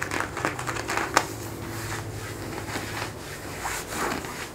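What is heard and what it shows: Fingertips and short nails scratch and rub the surface of worn blue denim jeans stretched over a raised knee and thigh. A soft, steady scratchy rustle runs throughout, with brighter strokes standing out, one sharp scrape near the first second, and a faint low hum underneath.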